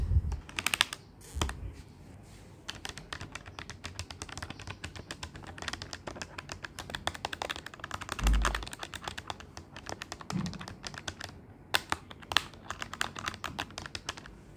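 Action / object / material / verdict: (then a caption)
tap / plastic desktop calculator / plastic / none. Fingertips and nails rapidly press and tap the hard plastic keys of a black plastic Magnus desktop calculator with a hollow body, lying on a bedsheet. A dense, steady stream of short, dry, bright clicks and clacks runs throughout, with a few duller low thumps near the start and around the middle.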